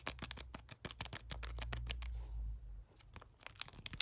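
A small, flat lilac plastic-foil skincare sample sachet that appears filled is held in both hands and tapped and scratched with fingertips and short nails. It gives quick, irregular bright crinkling taps and scratches over a low steady hum. The tapping pauses briefly near the middle before resuming.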